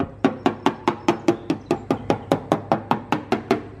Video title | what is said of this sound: Fix Your Rust In One Weekend | you can hear how that's like a dull sound so behind this that probably won't last too much longer